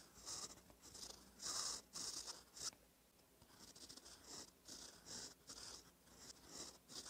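A gold metal fountain pen nib, held by fingertips, scratches across a thin cream lined notebook page while writing cursive. Soft, bright, papery scratching comes in short irregular strokes separated by brief quiet gaps, with little low end and a close, dry sound.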